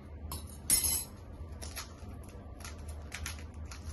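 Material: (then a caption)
Fried pastry. Fried karanji pastries are broken and handled, giving a series of dry, crackling crunches with a sharp burst near the start over a low background hum. The pastries are very crispy and flaky, not soft at all.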